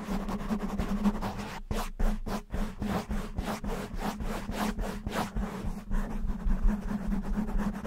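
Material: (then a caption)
Foam. A black, soft, porous foam windscreen covering a microphone is rubbed and scratched with the fingertips of both hands. The result is a rapid series of close, crackly scratching bursts that reach bright high tones, over a steady low hum near 210 Hz.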